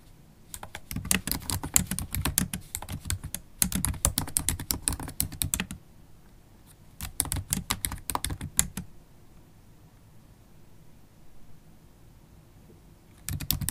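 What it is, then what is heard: Laptop keyboard typing. Long black acrylic stiletto nails type on a MacBook Pro keyboard with black plastic keys in an aluminium body. Rapid, bright, clicky taps come in three bursts separated by quiet pauses, with a faint low hum underneath. A final short flurry starts at the very end.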